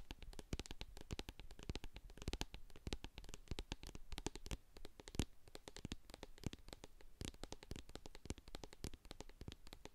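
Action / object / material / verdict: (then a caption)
tap / plastic cosmetic jar with metal lid / plastic / none. Long acrylic nails tap and scratch the sides and label of a medium hand-held plastic jar of hair co-wash with a silver metal lid, full of white cream. Quick, dense, dry clicking taps mix with scratchy rasps, each with a dull, low-heavy thud and almost no ring. The steady soft run of tapping lasts the whole clip.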